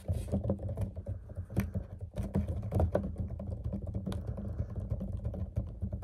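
A clear PET water bottle with a label, mostly full of water and held upright, is tapped rapidly with fingertips and nails. The result is a dense, irregular patter of soft, dull taps and sharper clicky ticks over a steady low, hollow resonance, with each tap dying away almost at once.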